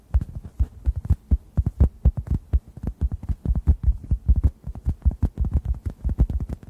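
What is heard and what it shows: A rounded, oblong, hand-sized orange synthetic foam sponge, solid and porous and dry, is tapped with the fingertips close over two microphones. The result is a steady run of soft, muffled, deep thumps with almost no ring, pulsing like a heartbeat.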